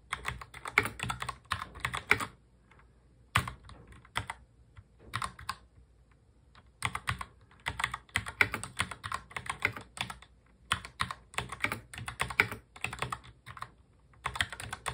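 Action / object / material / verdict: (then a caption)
tap / plastic mechanical keyboard keys / plastic / none. Both hands touch-type steadily on a full-size black mechanical keyboard with plastic keycaps, fingertips tapping the keys. Bursts of rapid, bright, clicky keystrokes with short dry decay are broken by brief quiet pauses.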